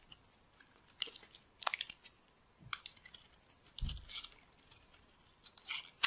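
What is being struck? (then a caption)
Bar of dry soap scraped by a metal blade. A metal utility-knife blade scrapes and shaves flakes off the surface of a solid purple bar of dry soap held in the palm. Dry, bright, crackly scraping strokes come in quick bursts with short pauses, plus one duller low thump near the middle.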